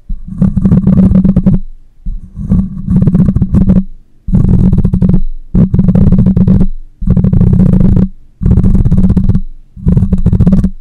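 A black microphone's metal mesh grille is scratched with fingernails and rubbed with the fingers, right against the capsule. It produces a series of loud, close, bassy bursts of scraping rumble with a steady low hum, separated by short silences.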